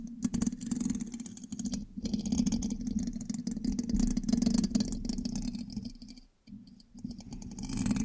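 A thin metal pin held in the fingertips scratches and taps across the hollow black metal mesh grille of a large USB microphone. The result is a dense, irregular scratchy clatter over a steady hollow low drone, with a brief near-silent pause around the six-second mark before the scraping resumes.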